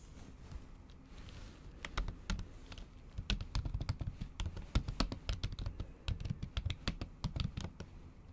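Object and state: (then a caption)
Laptop keyboard with plastic cover, typed with long nails. Long acrylic nails type on a MacBook keyboard under a thin pink plastic/silicone cover, producing dozens of quick, dry taps in an irregular typing rhythm. Each tap is a short, muffled thud with a bright click on top that dies away almost instantly.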